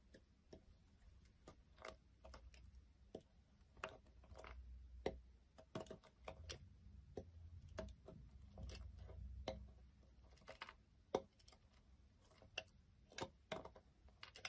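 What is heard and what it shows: A small thin blade chips and cuts the edge of a solid beige Johnson's soap bar lying on a wooden surface. The clip is a quiet, irregular series of sharp, dry clicks and scrapes that stop almost instantly, like the ticking of a clock, over a soft low rumble.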